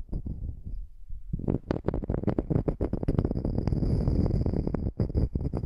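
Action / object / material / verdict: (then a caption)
scrape / wooden slice coaster / wood / none. Long nails scratch the edge and face of a small, flat, solid wood slice coaster held on edge above the microphone. Dense, irregular scratching strokes sound deep and rumbly, with a short quieter lull early on before the scraping grows busier and louder.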